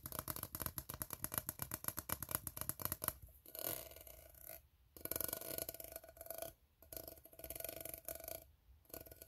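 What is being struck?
Ribbed steel tin can.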